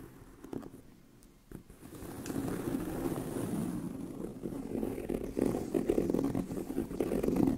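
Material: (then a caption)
Leather. Both hands scratch a tan pebbled leather handbag with medium-long nails, rasping over its hollow body. The sound starts as faint, sparse scraping, then builds into a dense, continuous, low-pitched scratching with a muffled, hollow quality and quick flurries of strokes.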